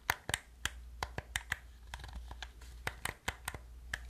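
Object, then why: Plastic game controller. Fingertips and nails press the buttons and tap the shell of a hollow black plastic gamepad, making about 16 short, sharp clicks with a bright edge. Each click dies away almost instantly over a steady low hum.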